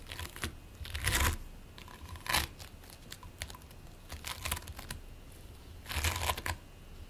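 Fingertips and palms press, squish and rub a single solid, flattened lump of purple and green play foam (polystyrene bead modeling foam) resting on a white plate. Soft, crackly crinkling and tearing-like sounds come in uneven bursts, bright and hissy at the top with a low thud underneath. The loudest surges come as the foam is squeezed harder, with quieter scratchy rubbing in between.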